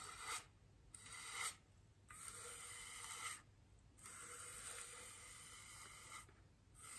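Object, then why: Styrofoam wreath ring. A large, white, solid styrofoam wreath ring resting on a table is gently brushed with the bristles of a small paintbrush. The result is soft, airy scratching strokes, bright and hissy, with long passes separated by short pauses.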